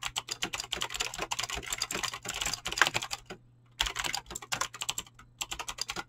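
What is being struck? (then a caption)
Mechanical keyboard with clicky switches and PBT plastic keycaps. Fingertips with short painted nails type fast on a full-size mechanical keyboard with Razer green clicky switches and pink-blue PBT plastic keycaps resting on a desk. A rapid stream of sharp, bright clicks clatters along, with a faint steady low hum underneath. Typing breaks off briefly just past the middle, then resumes at the same quick pace.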